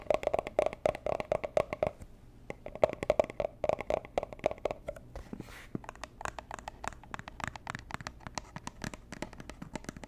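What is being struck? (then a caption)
Small cardboard gift box. A small, hollow, robin's-egg-blue Tiffany & Co. cardboard gift box is turned in the hands while long nails tap and scratch its lid and sides. Rapid, dry taps carry a hollow ring near 610 Hz for the first five seconds, then give way to brighter scratching and clicking with short, quickly fading hits.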